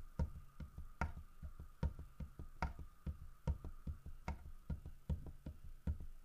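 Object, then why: Carved wooden bear figurine. Fingertips and nails tap the carved fur of a large, solid carved wooden bear figurine. The result is dull, low knocks that stop almost instantly: stronger taps land about every 0.8 seconds with lighter taps in between. A faint steady hum sits underneath.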